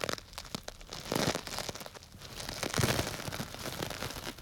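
A small clear plastic bag tied with string and full of small orange-yellow dry grains is crinkled and squeezed with fingers close to the microphone. It makes a dense, crunchy crinkling and rustling with bright plastic crackle and the soft shifting of grains. The sound swells twice as the bag is squeezed harder, then settles back to quieter crinkles.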